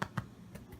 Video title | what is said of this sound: Challah Bread | You can kind of hear the hollow sound when you do it.